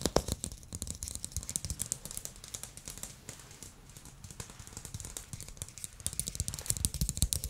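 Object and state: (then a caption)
Plastic ball tapped with nails and fingertips. A small glossy blue plastic ball, held in both hands, is tapped and scratched with fingernails, shifting to fingertips. Dense, rapid clicks and taps carry bright scratchy texture over a low thumping body. The quick taps die away almost instantly, quieting briefly in the middle before building again toward the end.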